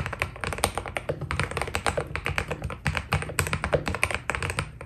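Fingertips type quickly on a white Keydous NJ80 mechanical keyboard with PBT plastic keycaps, producing a steady stream of short, crisp key taps. Each press has a low thocky body and a bright clicky edge that dies away almost at once.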